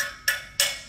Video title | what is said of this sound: Club Meeting | You hear how it gets solid like that